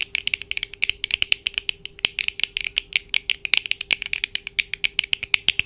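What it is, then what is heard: Plastic eyeglasses tapped with nails. Long acrylic nails on both hands tap rapidly on the lenses and frame of black plastic-framed eyeglasses worn on the face, close up. Dozens of quick, dry, bright clicks fall in an uneven rattling rhythm, each dying almost instantly, over a faint steady low hum.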